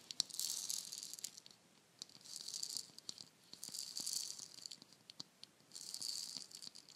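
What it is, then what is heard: Wooden shaker egg filled with beads. A palm-sized hollow painted wooden shaker egg, red and orange with a dragon design and filled with beads, is turned and tapped with long nails. Four bursts of bright, hissing bead rattle swell and fade, with sharp, dry clicks from the nails scattered between them. There is no low end and almost no ring after each tap.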